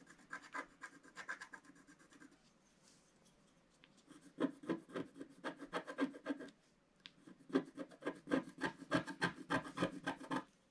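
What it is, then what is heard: Wax-coated scratch art card. A wooden stylus scratches around the reindeer on a black, wax-coated scratch art card lying flat. Quick, dry rasping strokes come in rapid bursts, trailing off into a quiet pause before a louder run of scraping, a brief break, then another steady run.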